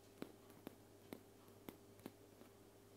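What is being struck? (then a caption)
Aluminum aerosol spray can. A white aluminum aerosol spray can, a hollow metal cylinder held horizontally, is tapped five times with long painted fingernails. Each tap is a quiet, dry tick with a short hollow metallic ring around 280 Hz that fades almost at once. A steady low hum sits beneath the taps throughout.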